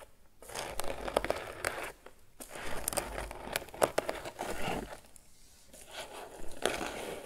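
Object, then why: Crocheted twine basket. Fingertips and nails scratch the lid and sides of a grey crocheted twine lidded basket. The result is a quiet, dry, crinkly scratching that comes in rough bursts separated by brief near-silent pauses.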